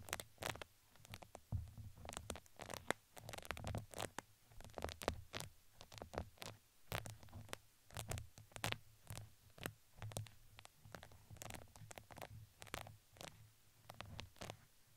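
Two wooden skewers scratch the fuzzy side of a red fuzzy fabric crinkly ring wrapped around a microphone head. They make quick, dry, uneven scratching strokes with bright crinkly crackle on top and a soft, muffled low rumble underneath. The sound stays quiet and close throughout, with each stroke stopping sharply.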